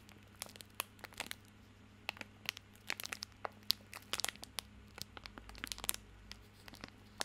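Fingertips scratch and crinkle the crinkly plastic film wrapper of a small bar of soap held in both hands. The result is a quiet, irregular run of sharp, bright crackles and crinkles, some bunched in quick flurries, over a faint steady low hum.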